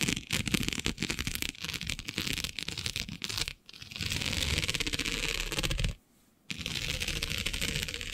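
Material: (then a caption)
Plastic. Long nails scratch and tap across the grid of a flat black iridescent plastic diamond mesh sheet, making quick, dry, bright clicks and raspy scrapes. A dense run of tapping gives way to steadier scratching, with brief pauses near the middle and toward the end.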